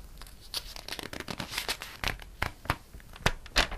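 Fingertips and a flat palm rub and smooth the coated paper pages of an open glossy paper catalog. The result is a steady run of dry, crinkly swishes and scratchy rustles, with sharper bright bursts rising above a soft, papery hiss.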